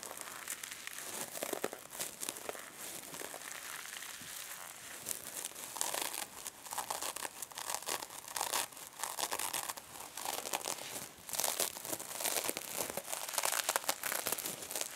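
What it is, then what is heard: Metallic mesh scrub sponge. Both hands scratch a small silver metallic mesh scrub sponge over foam with their nails and squeeze it, making a dense, bright crinkling and scratching with rapid crisp crackles. The sound runs steadily throughout with almost no low end, swelling in short louder bursts of scraping and crunching.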